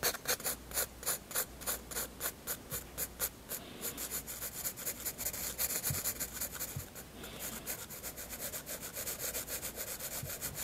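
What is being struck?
Graphite pencil on paper sketchbook page.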